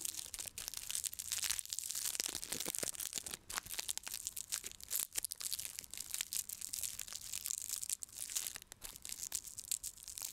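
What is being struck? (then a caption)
Whole raw onion with papery outer skin. Fingertips scratch and pick at the dry, papery outer skin near the top of a whole, raw, fist-sized red onion held up in one hand. The result is a dense run of bright, crisp crinkling and tearing crackles with almost no low end.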